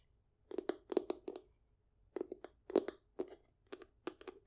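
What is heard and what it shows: A hollow, medium-sized light-wood box is tapped and scratched with long acrylic nails. About fifteen quick, dry clicks come in three loose bursts, each with a faint hollow ring around 380 Hz that stops almost at once.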